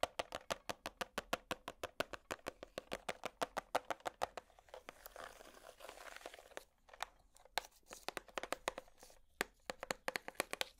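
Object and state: Clear plastic compartment box.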